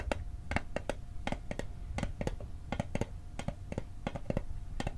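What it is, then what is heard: Metal mint tin. A small, rectangular, hollow metal Altoids mint tin, held in both hands over the microphone, is tapped quickly with fingertips and short nails. The result is a fast, uneven run of short, dry metallic clicks that die away almost instantly over a low, dull body.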